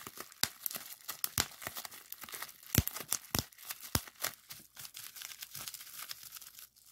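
A clear plastic bubble wrap sheet with hollow bubbles is pinched and pressed with thumbs and fingertips to pop them. Dozens of sharp, bright pops and snaps ring out in quick, irregular succession over soft crinkling of the plastic.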